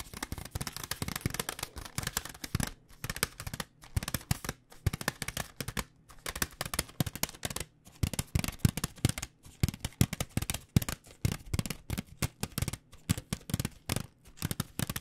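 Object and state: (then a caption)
Plastic pouch of dry rice noodles. A blue plastic food pouch filled with dry rice noodles is tapped with fingernails in rapid, uneven bursts. The taps give short, dry crinkling clicks with a low, hollow thump, separated by brief pauses.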